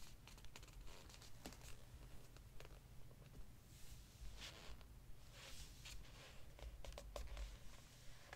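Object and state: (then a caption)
Glossy paper pages of a hardcover book. Fingertips rest on and rub the glossy paper page of an open hardcover book, then curl the page corner to turn it. Soft papery rubbing and crinkling come through as quiet, scattered bright swishes over a steady low hum.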